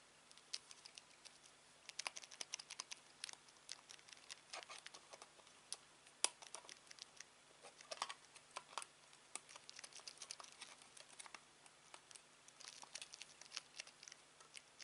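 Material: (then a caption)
Plastic. A thumb and fingertips press and tap the buttons of a black plastic Samsung TV remote held in the hand. Quick, dry, bright clicks and taps come in irregular clusters throughout, each dying away almost instantly. A faint steady low hum sits underneath.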